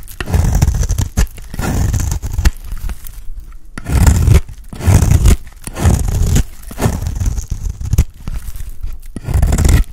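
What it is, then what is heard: Dry soap bar being scraped. A dry, round, solid cream soap bar held in the hand is scraped with a utility blade. Each stroke gives a rough, gritty scraping burst with a heavy low rumble and a faint bright hiss, repeating in uneven waves with short pauses between them.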